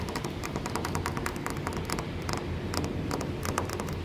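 Fingertips and nails tap and scratch a dark-stained solid wooden post or furniture leg up close. Quick, dry clicks and scratchy, bright ticks come in an uneven patter over a steady low rumble and hiss. The taps die away fast, with little ring.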